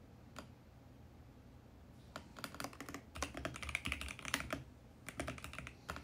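A VGN X68 compact mechanical keyboard with plastic keycaps and a mint case is typed on with the fingertips of both hands. Sharp, short, bright key-press clacks come as a lone tap and then in uneven bursts, busiest in the middle, separated by brief pauses over a low background hum.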